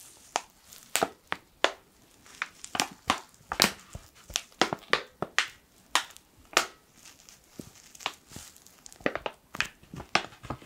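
A hand-sized black laminated foil and plastic ground-coffee pouch, its fill unclear, is squeezed and crinkled with the fingertips. About 25 sharp, bright crackles and crinkles sound in an irregular rhythm. Each is short and dies away quickly, with almost no low end.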